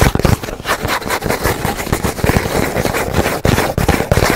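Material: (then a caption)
Cardboard. Fingernails rapidly scratch and tap a hollow, empty brown cardboard roll tube held horizontally. The result is a dense, continuous rasping scrape mixed with quick, dull, hollow taps that sit mostly in the low range, with little bright top end and very short decay.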